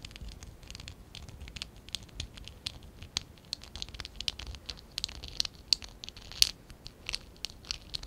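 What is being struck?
Stack of plastic Lego bricks.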